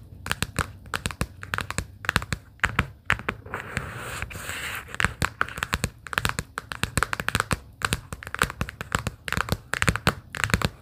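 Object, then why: Small cardboard sticky-note case tapped with fingernails. Long pink acrylic nails tap rapidly on a small, hollow, closed pastel plaid cardboard sticky-note booklet case lying on a fleece blanket. The result is dry, crisp clicks with almost no ring and a soft low thump beneath them. Midway, the tapping briefly gives way to a softer, breathy scratching rustle before the quick taps resume.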